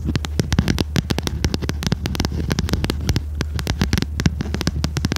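Long red nails rapidly tap and scratch the stiff cover of a small red notebook with metal spiral binding, held in both hands. Sharp, bright clicks fall in a dense, quick stream over a steady low hum.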